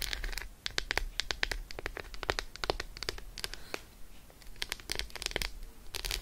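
An unwrapped solid Roshen milk chocolate bar is held in the hand and tapped and scratched with long acrylic nails. It makes a fast, irregular run of sharp, bright clicks with very short decay, mixed with soft scratching and a low background rumble, pausing briefly partway through before the tapping resumes.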